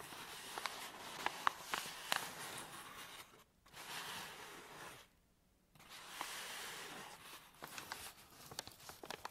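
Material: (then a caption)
Paper. An empty, hollow medium white paper bag with a folded top is crumpled, pressed and crinkled with fingertips and medium nails. Dry, bright crinkling and rustling is broken by sharp crackles and ticks, with two short near-silent pauses before the crinkling resumes.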